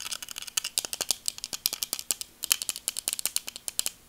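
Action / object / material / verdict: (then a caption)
tap / plastic sunglasses frame / plastic / none. Black plastic sunglasses are turned in the hands while long nails tap and scratch along the frame and temples. About 28 quick, dry, bright clicks come in an irregular patter, with a faint scratchy hiss between them and almost no low end.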